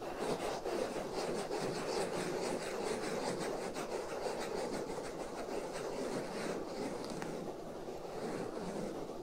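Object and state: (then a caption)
Foam microphone windscreen being scratched. Fingers rub and scratch the black foam windscreen over the right ear of a binaural microphone, producing a continuous rough, crackling scratch. The scratching has a dense mid-range body and faint bright streaks, pulsing unevenly for about nine seconds with no clear separate hits.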